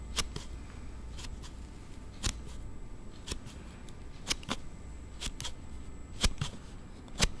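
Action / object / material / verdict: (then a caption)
scrape / hard plastic slide case on a phone / hard plastic / none. A hard plastic slide case on a Note7 phone is slid open and shut repeatedly with the thumb close to the recorder, making an unusual sound. It comes through as sharp, bright, dry clicks and snaps at an irregular pace, over a faint low hum.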